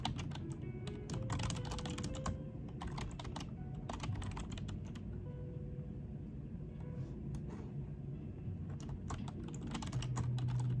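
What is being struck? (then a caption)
Plastic computer keyboard. Both hands type with their fingertips on a full-size black plastic desktop keyboard, with the mouse sitting untouched behind it. Bursts of quick, bright key taps come in uneven clusters with short pauses between them. A steady low, warm bed with soft musical tones runs underneath throughout.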